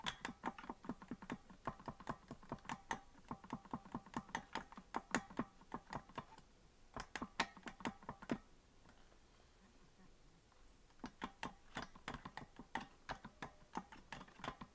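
Fingertips tap the plastic keys of a hollow green plastic melodica that is not being blown, producing quick, light clicks with a short ring. Fast runs of taps fill the first eight seconds, then pause briefly, and resume from about eleven seconds to the end.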